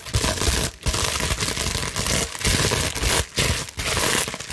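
A clear plastic bubble wrap sheet is scratched and crushed with long nails and fingers, giving dense, continuous crinkling and scratching that covers both low and bright high frequencies. The sound runs in sustained bursts broken by a few brief quiet gaps.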